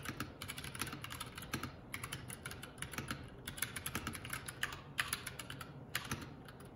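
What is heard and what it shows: Fingertips of both hands type continuously on the plastic keycaps of a Keycool K84 75% mechanical keyboard. The result is a steady stream of rapid, bright clicks and clacks with short, crisp decays over a faint low rumble.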